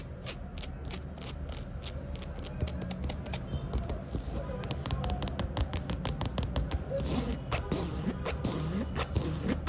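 Long nails rapidly scratch and tap the sole of a foam/rubber flip-flop with a plain orange underside, while its strap is flexed to make a creaky sound. The result is a dense, irregular stream of quick clicks and taps over a low, rumbling scratch, with occasional creaks from the strap.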